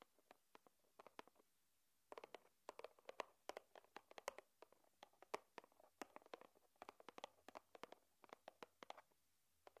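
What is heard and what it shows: Long nails tap a small, flat, white cardboard USB-cable box lying on a wooden table. Dozens of quiet, dry, hollow taps come in quick, irregular bursts, with a brief pause near the two-second mark. Each tap is light and short, with a midrange tone and no ring.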